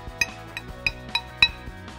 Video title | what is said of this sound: Искусственный камень для фасада Клинкерная плитка | если постучать качественными плитками друг от друга то раздастся действительно звонкий звук